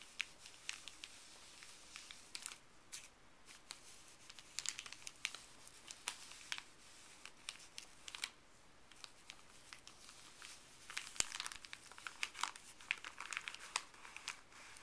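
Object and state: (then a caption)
Paper bag being crinkled. Fuzzy gloved fingers rub and crinkle a folded, empty, printed white paper pharmacy bag. The result is a quiet, steady, bright crinkling with many short, sharp crackles, and a denser burst of crackling near the end.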